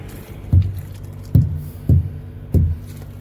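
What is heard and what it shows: Four dull, low thumps sound in turn as a set of truck tires is thumped to check their inflation. Each hit is a short, deep thud that dies away quickly over a quiet background. All of the tires sound good, meaning they are properly inflated.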